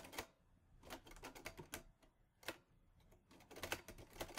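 Fingertips type on the keys of a mint-green Olivetti Lettera 22 portable manual typewriter with a metal body and paper loaded. Sharp, bright metallic clacks come in an uneven rhythm, each dying away almost at once, with a faint low hum between strikes and a quicker flurry of keystrokes near the end.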